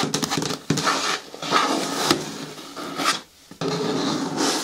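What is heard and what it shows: Long nails tap rapidly on the front of a large, hollow, green hard plastic bin with a lid. The result is a bright, clicky patter with short hollow knocks and a bit of scratching, punctuated by brief quiet gaps.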